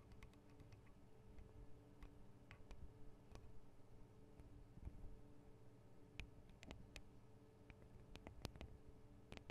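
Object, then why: Metal microphone capsules and guard wings of a handheld recorder. Long acrylic nails tap the metal guard wings and microphone capsules of a Tascam DR-40 recorder. Quick, dry, bright clicks fall at an irregular pace, some single and some in small clusters. Each dies away at once over a low, steady hum.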